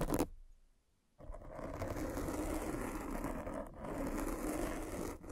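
A derma roller with metal spikes is rolled over the top of a black foam windscreen on a microphone, scratching the foam. A short scratchy burst fades into near silence, then a steady, dense, low-to-mid scraping and crackling texture runs to the end with slight dips along the way.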